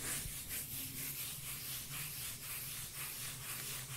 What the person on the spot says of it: the beautiful bass sounds of tapping & scratching a cork lid